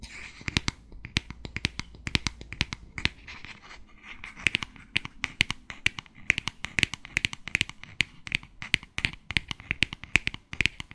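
Long nails tap and scratch the surface of a clear glass spray bottle with a white cap, held horizontally. A rapid, uneven string of short, dry clicks with no ring sits over a soft scratchy hiss. The sound is bright, centred near 2.4 kHz.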